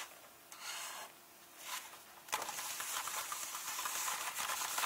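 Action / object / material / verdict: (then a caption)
scrape / paperback book paper pages / paper / none. A fingertip taps and points on the paper pages of an open paperback illustrated book, resting on its final spread, with soft, dry papery brushes. Then both hands rub the pages in a steady, louder, bright hissing rustle that continues to the end.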